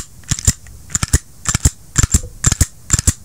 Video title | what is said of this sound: SIG P320 IN 40CAL REVIEW | you hear that it feels solid